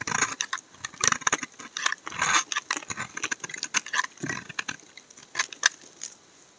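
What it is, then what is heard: Laundry soap bar being shaved. A steel utility blade scrapes and carves curls from the corner of a solid brown laundry soap bar held in the fingers, in a continuous shaving action. The clip is a string of quick, dry, crackly scrapes and snaps, bright and crisp with almost no low end. Each one stops short with no ring.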